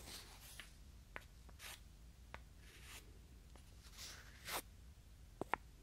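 Two small, solid, light wooden cubes held in the fingers are slid against each other close to the microphone. The result is quiet, breathy scraping strokes broken by a few sharp, dry wooden clicks, with a couple of bright taps near the end.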